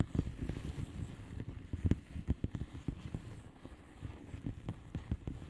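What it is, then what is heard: Plastic bubble wrap envelope. Long fingernails on both hands tap across the air-filled bubbles of a flat blue plastic bubble wrap envelope. The result is a quick, uneven run of soft, dull taps, heavy in low tones, each dying away almost at once.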